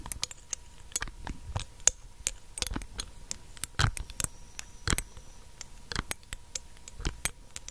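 Long nails tap the black dropper cap and the glass of a small, clear glass dropper bottle held in one hand close to the mic. The result is a quiet, irregular patter of short, dry clicks with bright ticking edges, some heavier taps adding soft low thumps. A faint steady tone hums underneath.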